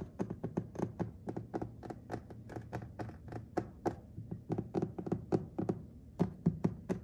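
Fingertips and nails tap and scratch across a white glazed ceramic subway tile backsplash with grout lines on a solid wall surface. About 35 short, dull, thunky taps come in a quick, uneven rhythm of roughly four per second. Each dies away almost instantly, with faint scratching in between.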